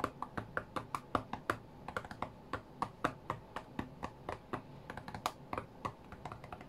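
Fingertips tap the glass touchscreen of an iPad tablet lying flat on a cutting mat while playing a rhythm game. About 35 quick, dry taps come in a steady, rhythmic stream over nearly seven seconds, each short, with a soft knock centered around 1.1 kHz and almost no ring.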